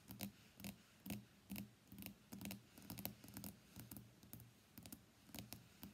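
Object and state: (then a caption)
Glass-backed smartphone. Long fingernails tap rapidly on the solid glass back of a white iPhone X lying face down on a desk mat. The sound is quiet, clicky tapping in uneven bursts, with bright ticks over a low, dull knock. Each tap dies away almost at once.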